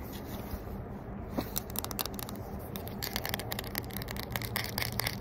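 A small Cetaphil SPF 50 sunscreen stick in a hollow yellow-and-white plastic tube is held close and scratched and tapped with short fingernails and fingertips, while a pink bag sits untouched below it. A rapid run of short, dry, bright clicks and scratches plays over a steady low hum, with no ring after each tap.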